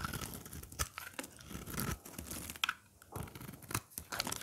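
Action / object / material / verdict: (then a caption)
scrape / bar of soap / soap / none. A short craft blade scrapes and cuts curls and chips from the face of a dry, hard, rectangular green soap bar with cheese-like holes, held in the hand, and the shavings fall onto a pile. The result is a close, dry, crunchy scraping with quick tearing bursts and bright crackle, coming in uneven strokes with brief pauses between.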